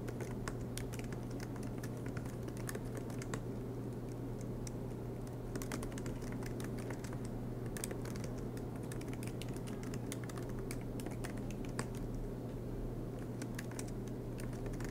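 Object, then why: Laptop keyboard, plastic keys in aluminum body. Fingertips of both hands type continuously on the black plastic low-profile keys of a silver MacBook Pro laptop with an aluminum chassis. Steady soft key taps with bright clicks ride over a constant low hum throughout.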